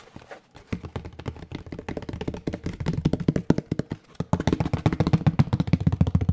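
A large, rectangular tray of molded gray paper pulp, cardboard-like, hollow and ridged on one side, is held in both hands and tapped and knocked with the fingertips. The result is a rapid, uneven run of soft, dull, low thuds with almost no ring, with brief pauses near the start and just past the four-second mark. The knocks grow louder and fuller toward the end.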